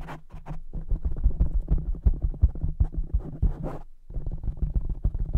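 Fingertips of both hands quickly tap and scratch a soft black foam cover on a large silver microphone. The result is a dense, rapid stream of deep, muffled thumps and rustling scrapes, almost entirely low in pitch. There is a brief pause near the four-second mark before the tapping resumes.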